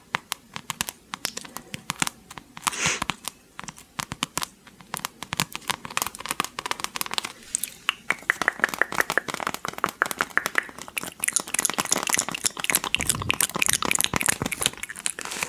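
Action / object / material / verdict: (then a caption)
scrape / foam squishy toy donut / polyurethane foam / none. A small, solid light-blue squishy toy donut made of soft PU foam, decorated with a flower and sprinkles, is held close to the mic and scratched and tapped with long pink acrylic nails. Crisp, dry clicks and crinkly scratching sounds are mostly bright with almost no low end, starting sparse and growing denser and louder through the second half.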